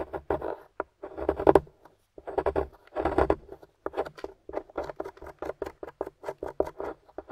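A pointed wooden stick, held in a hand with long nails, scratches and digs into the surface of a solid, crumbly grey plaster/gypsum dig-kit block with debris around it. Longer rasping scrapes come first, then a quick run of short, dry scratches. The sound is midrange and gritty with almost no ring.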